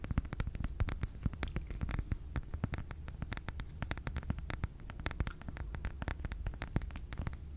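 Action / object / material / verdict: tap / unwrapped milk chocolate bar / chocolate / none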